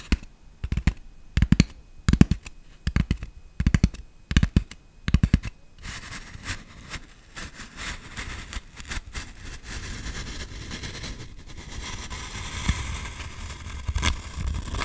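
Long nails tap in quick bursts on a medium-size orange foam toy pumpkin with a green stem, making soft, dull, low taps on the solid, squishy foam. After about six seconds the nails switch to scratching the surface, making a steady, brushy rasp with a brighter hiss that runs to the end.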